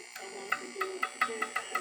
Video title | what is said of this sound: Vintage One Tube AM Detector Radio | If you tap the tube, you can hear the tube ring.